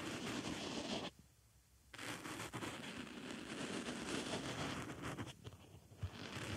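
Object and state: Foam makeup sponge.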